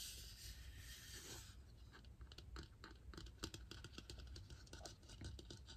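A large hollow plastic toy egg with a crackle-pattern surface is held in both hands and scratched and tapped with fingernails. A soft, bright scratching hiss comes first, then a run of quick, dry, high clicks and taps over a low background rumble.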